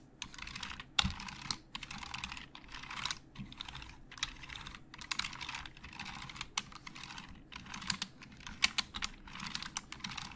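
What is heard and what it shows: Fingertips of both hands type fast on a hollow black plastic Logitech computer keyboard. Rapid, bright, clicky key taps come in dense bursts separated by brief pauses, each tap dying out almost instantly. A few sharper, louder clacks stand out from the quiet, steady patter.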